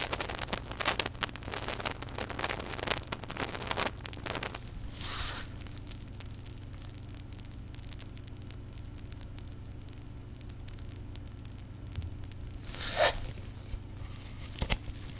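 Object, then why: Plastic squeeze bottle with liquid. A small white plastic contact lens solution bottle holding liquid is squeezed and shaken in gloved hands. Dense crackling, fizzy rustles and sloshing fill the first four seconds over a steady low hum. The sound then settles into a quiet hiss, with brief swells of squeezing near five and thirteen seconds.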